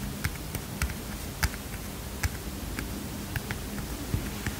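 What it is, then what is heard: Small paper notepad tapped with fingernails. A small heart-shaped, kitten-print paper mini notepad is held up and tapped and scratched with fingernails. About nine short, crisp papery taps ring out with bright clicky edges, spaced unevenly over a soft, steady low background hiss.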